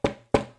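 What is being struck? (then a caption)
Large lacquer-coated aluminum record disc. Two taps on a 16-inch radio transcription disc made of lacquer glued onto aluminum, each a short, bright knock with a faint ringing tone that dies away quickly. The sound confirms it is an aluminum-based record with a lacquer coating.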